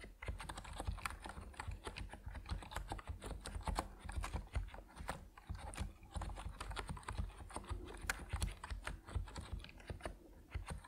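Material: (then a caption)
Plastic. Fingertips of both hands type on an Epomaker NiZ Plum Atom 68, a 68-key compact mechanical keyboard with white and purple PBT plastic keycaps resting on a wooden desk. A steady run of quick, short key clacks carries a strong low thump under the bright clicks, with barely any ring after each press.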